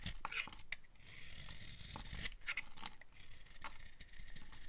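A utility knife blade cuts thin slices from the edge of a dry, solid, light pale green bar of soap. Close, crisp scraping and crackling cuts come in quick uneven strokes, with bright, dry crunching over a soft low rumble.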